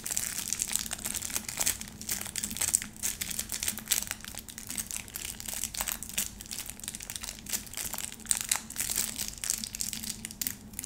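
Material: Plastic film.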